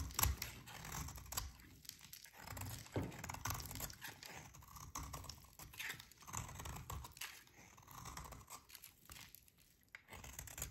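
A metal utility blade shaves long curls from a solid, dry, pink rectangular soap bar held in the hands. Repeated dry, crackly scraping strokes rise and fall in waves, with a soft low rumble under bright, crisp flaking.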